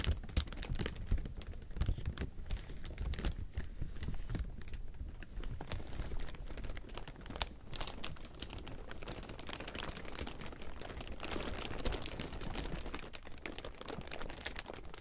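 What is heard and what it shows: Hands press and crumple a large heap of thin clear plastic film with their fingers for about 15 seconds. The result is a continuous, dense crinkle of quick, sharp crackles over a low, steady rumble.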